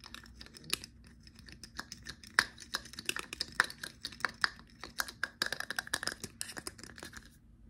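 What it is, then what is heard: Glass cologne bottle with plastic cap. A small dark blue glass cologne bottle with a black plastic cap is held in the hands while fingertips and nails tap on the cap, and the cap is lifted off and put back on. The result is a quick, irregular run of short, dry, bright clicks and taps with a faint ring near 1.8 kHz, over a quiet background.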